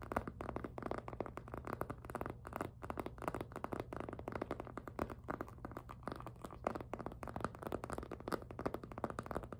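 Fingertips and nails grip and rub the front of a hollow, glossy pink jelly PVC handbag. The result is a dense, continuous stream of quick squeaky rubs and soft plastic taps, centered in the midrange with little high brightness. A steady low hum runs underneath throughout.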